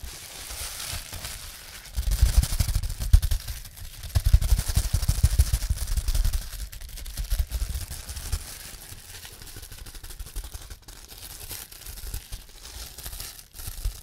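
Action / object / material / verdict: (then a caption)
scrape / plastic bubble wrap sheet / plastic / none. A clear plastic bubble wrap sheet is squeezed by fingers close up, giving rapid crackling pops and crinkling. The popping is densest and loudest in the first half, over a low handling rumble, then eases into quieter crinkles with a few sharp snaps near the end.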